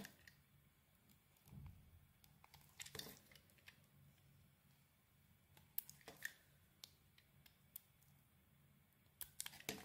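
A metal blade carves a solid grey soap bar with a heart print and a pink interior, held in the hand. Quiet, crisp scrapes and sharp little clicks come in scattered bursts over a faint low hum, with a longer, louder shaving stroke near the start and a flurry of bright cuts at the end.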